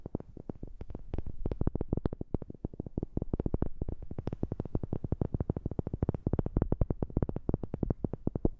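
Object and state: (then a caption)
Wooden object. Fingers tap rapidly and steadily on a wooden object, close to a new microphone. The dozens of short, dry knocks sound deep and thumpy, with almost no ring. Some taps land louder than others.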